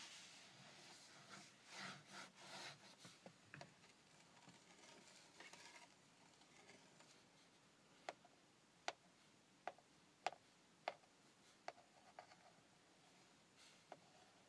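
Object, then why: Plastic car gauge lens. Fingertips and nails rub and scratch across the clear plastic lens of a round Mini Cooper tachometer with a chrome bezel, mounted on the steering column, making soft swelling swishes for the first several seconds. After that comes a series of sharp, bright clicking taps on the cover, each dying away almost instantly.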